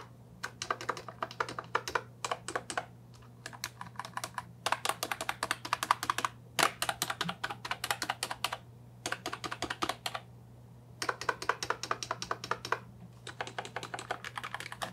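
A fingertip presses individual function and navigation keys on an Ajazz 308I brown and white plastic mechanical keyboard with round keycaps and a hollow body. Bursts of rapid, crisp, hollow clacks with a bright edge are separated by short pauses, each click dying away almost instantly. A faint steady low hum runs underneath.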